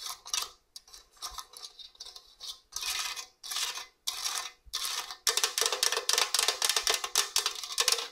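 Long orange nails scratch and tap over the raised holes on the coarse grating face of a hollow stainless steel box grater. Bright, hissy scraping comes in separate strokes at first, then turns into a dense, rapid run of short scratches and taps.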